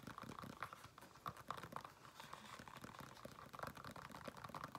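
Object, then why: Faux leather flat shoe. Fingernails tap and scratch the upper of a single black, smooth faux leather women's flat shoe, held hollow and empty in the hand. A quiet, dense run of short, dry clicks with a faint hollow ring around 1.1 kHz mixes with a soft, papery scratching that fades almost instantly after each touch.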